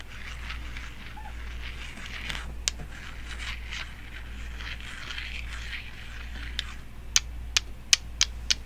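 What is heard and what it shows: Long decorated nails with metal nail caps scratch and tap a small, solid, pale, unfinished wooden toy block shaped like a cone, held in both hands. Soft, bright, rustling scratches run over a steady low hum. Eight sharp, clicky taps cut through, most of them in a quick run in the last two seconds.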